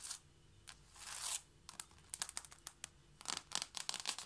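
Long light-blue painted nails on both hands tap rapidly on flat wooden or laminate floorboards in front of a knit mat. Quick, bright, clicky taps come in bursts, with a softer brushing swell early on. The sound has almost no low end, and each tap dies away at once.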